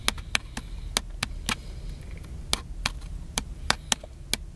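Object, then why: Plastic handheld camcorder. Fingertips tap and scratch the side of a small black and silver plastic handheld camcorder held upright, its hollow body answering each touch. About thirteen sharp, bright, dry clicks ring out at uneven intervals and die away almost at once. A soft scratchy rustle and low rumble sit beneath them.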